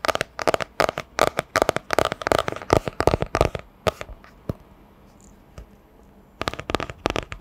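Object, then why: Hardcover book with cardboard cover. Long nails tap quickly on a solid hardcover book with a printed striped cardboard cover, held sideways before the mic. The result is bursts of short, dry clicks with a hollow midrange knock near 640 Hz and a bright edge. The tapping runs for about four seconds, drops to a few faint taps over a near-silent pause, then resumes in a final quick flurry.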